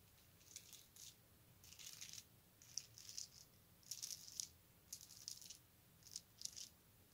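A strand of colorful round plastic beads, probably hollow, is held up while fingertips slide the beads along the string so they click together. Short bursts of quiet, bright, high-pitched clicking and rattling come in a steady on-off rhythm, with almost no low end and no ringing between bursts.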